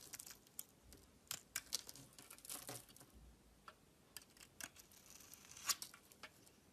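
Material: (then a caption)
Soap. A solid oval pink bar of soap, held in the hand, is carved and shaved with a metal utility knife blade, peeling off thin curled strips. Quiet, crisp, bright cutting and scraping sounds come in quick, uneven bursts, with a few sharper snaps standing out.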